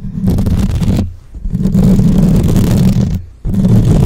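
Long nails scratch and tap fast across the top and sides of a black microphone's rounded, hollow metal mesh grille. The result is a dense, heavy, low-pitched rumbling scrape in bursts, with two brief pauses where it drops to a quiet low hum before starting again.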